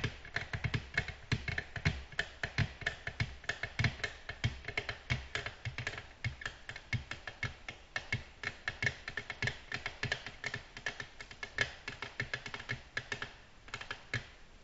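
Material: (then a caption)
Glass. Long natural nails gently tap a flat, solid, glossy black glass tabletop in a quick, steady stream of dozens of short, crisp clicks. Each tap is bright with a slight low thud beneath and dies away almost instantly.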